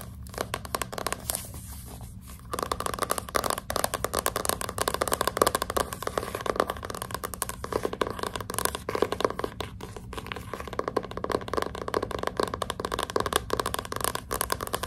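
A hardcover book with a glossy cardboard cover lies flat on its side while its front cover is scratched and tapped with long pink nails. After a quieter scratching start of about two and a half seconds, dense, rapid clicking taps and dry scraping strokes continue steadily. Each tap is short and crisp with almost no ring.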